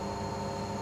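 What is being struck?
Nothing is struck.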